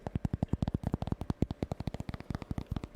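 A tiny store-bought pumpkin is tapped quickly with the fingers, about 27 soft taps in three seconds. Each tap is a short, low, hollow thud with almost no ring, giving the pumpkin a nice, muted sound.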